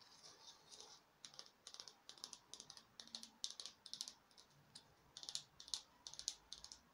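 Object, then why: Small foam craft pumpkin. A small, glittery, peach-colored artificial craft pumpkin, likely foam, is tapped rapidly with long nails. Quick bursts of light, dry clicking taps with a bright, crisp tone decay almost instantly, with brief pauses between clusters.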